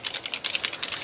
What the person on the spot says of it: you'll hear that little ball in there going up and down